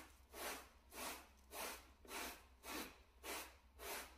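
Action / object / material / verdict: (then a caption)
scrape / shag carpet mat scrubbed with a bristle brush / carpet fibre / none. A gloved hand scrubs a small, solid, flat grey plush shag carpet mat with a wooden-backed bristle brush. Seven even, rhythmic strokes make broad, breathy swishing bursts that are bright and airy, over a faint steady low hum.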